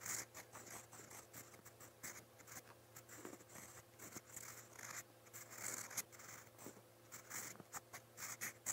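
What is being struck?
Steel pen nib on lined notebook paper.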